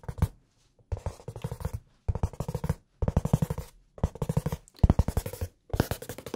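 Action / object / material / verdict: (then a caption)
tap / hardcover notebook cover / cardboard / none. A blue hardcover notebook with red page edges, first held flat and then tilted up, has its cover tapped and scratched with fingertips and nails. The taps come in about six quick bursts separated by short pauses. Each tap is a dull, low thud that dies away almost at once.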